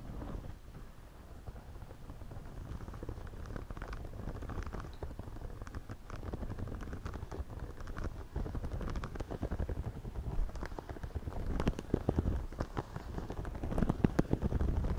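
Fingers scratch and rub the top and brim of a white, wide-brim woven straw floppy hat worn on the head. The result is a dense, low, rumbling scratching with many short crackly ticks, which grows louder and sharper toward the end.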